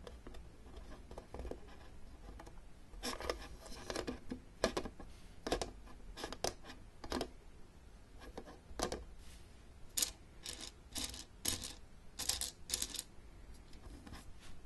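Long dark-painted nails tap the sides and frame of the upright lid of an open, hollow blue plastic Battleship game case, with pegs set in the lid grid. The result is an irregular run of quiet, short, dry plastic clicks and bright scratchy taps that stop almost instantly, with brief clustered bursts over a faint low background hum.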